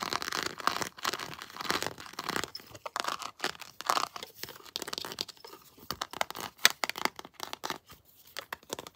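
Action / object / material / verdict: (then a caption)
scrape / ridged plastic action figure / plastic / none. Long blue nails scratch the ridged plastic dreadlocks, fitted with colored rings, on a plastic Predator action figure. Quick, dry, bright scratching and crinkling comes in rapid bursts with almost no low end. Each stroke stops short with no ring.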